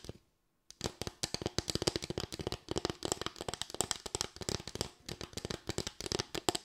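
A small, light bamboo board with raised slats is tapped and scratched with long white nails, then lifted toward the camera at the end. After a brief silence, a fast, steady run of dry, bright clicks and scratchy taps continues with almost no ring.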